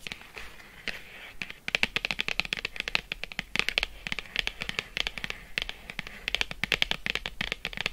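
Long acrylic nails rapidly tap and scratch a flat printed cardboard box of Lindt 85% cocoa chocolate lying on faux fur. Dense, crisp, bright clicks with very short decay run over a soft scratchy rustle throughout.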